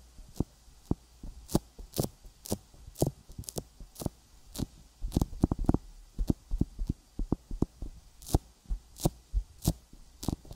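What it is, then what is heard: Silicone microphone ear coated with petroleum jelly, tapped. Fingertips tap a sticky silicone binaural microphone ear coated with petroleum jelly, giving 25 short, dull thumps at an uneven pace. Each tap is deep and muffled with a brief bright click on top and almost no ring, over a steady low hum.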